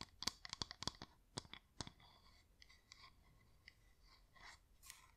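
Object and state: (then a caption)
Wax LED pillar candle tapped with fingernails. Long nails tap on the sides of a yellow wax flameless LED pillar candle with a flickering light, held in both hands. A quick, uneven run of sharp, bright clicks comes first, then softer scratchy taps continue at a lower level.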